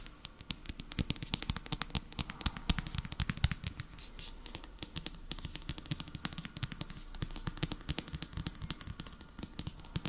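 Fingernails scratch and tap along the spine and paper cover of a solid Harry Potter paperback book with an orange cover. The result is a steady, irregular stream of quick, dry clicks and taps, each dying away almost at once, with bright ticking on top and soft low thuds underneath.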